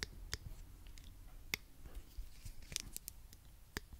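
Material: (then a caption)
Plastic. A small pink plastic claw hair clip is held in one hand while the fingertips click and squeeze its hinge and teeth. Scattered sharp, bright plastic clicks and snaps sound at irregular intervals over a soft low rumble. Each click dies away almost instantly.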